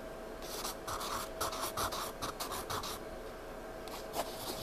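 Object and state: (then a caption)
Pencil scratching on a paper sketchbook page. A spiral paper sketchbook lies flat while a hand rubs the page, then scratches and shades across a dark patch with a pencil tip held in the fingertips. Soft, papery rubbing gives way to bursts of bright, dry scratching strokes over a faint steady tone.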